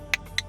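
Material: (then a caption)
Mulga wood. A small spoon carved from dense, hard mulga wood, the wood used for clapsticks, is tapped twice on something to show its hardness. Two sharp, bright clicks ring briefly with a glassy tone near 2 kHz and die away almost at once.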